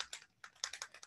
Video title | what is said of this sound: Online Class: Flowy Alcohol Ink Techniques - Michaels | The ball starts shaking around in there